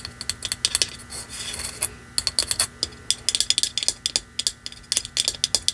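Long manicured nails tap and scratch a small, hollow, shiny Christmas ornament held in one hand, shaped like a wrapped candy with a red-and-white striped round center and red metallic fan-shaped ends, likely plastic. About 28 sharp, bright clicks come in quick irregular bursts, each dying almost at once. A brief stretch of soft, hissy scratching fills a pause early on.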